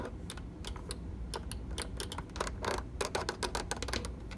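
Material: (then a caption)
Plastic. Fingernails tap and press the buttons and panel of a plastic treadmill control panel with an LCD display. The result is a quick, irregular run of sharp, bright clicks, growing denser and louder toward the end, over a steady low rumble.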